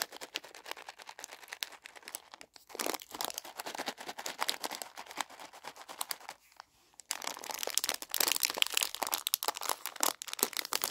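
Fingers crinkle and squeeze a full small plastic bag of milk chocolate raisins held in both hands, making dense, bright crackling and rustling with almost no low end. The crinkling runs steadily, drops to near silence for a moment just before 7 seconds, then comes back louder and busier until the end.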